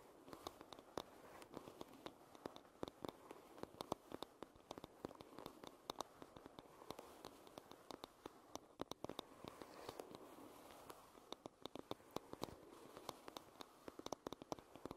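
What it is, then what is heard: Wooden hairbrush back, solid. Fingernails tap and scratch on the solid wooden back of a paddle hairbrush. Many quick, dry taps with almost no ring sit over a soft, steady scratching hiss centered in the low midrange, with sharp clicks reaching up into the high range.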